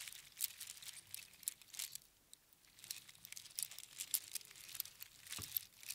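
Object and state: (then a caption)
Strand of small seashells rattled. A strand of small hollow spiral seashells on string is held in cupped hands, then shaken and squeezed so the shells rattle against each other. The result is a quiet, bright, dry clicking and crinkling with almost no low end. It comes in clustered bursts, with a brief near-silent pause around the two-second mark.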